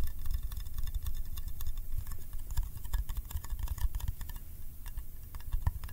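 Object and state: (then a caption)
Metal candy tin, fingertip tapping. Fingertips tap quickly on the side and lid of a small, round, hollow yellow metal candy tin. The result is a rapid, uneven stream of short, dry ticks with bright clicky tops over a soft low thump. Each tap dies away almost instantly.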